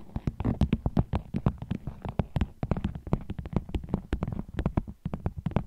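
Fingernails tap on a vinyl bag as an ASMR trigger, making a fast, irregular run of short, dry clicks with a low, hollow body. Each tap dies away at once with no ring, and some land softer than others.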